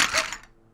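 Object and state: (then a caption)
Bag of toy magnets rattling. A heavy bag of magnet building pieces is shaken, giving a bright, clattering rattle of the pieces knocking together. The sound is sharp and high-pitched, peaks within the first quarter second, and fades out in under a second.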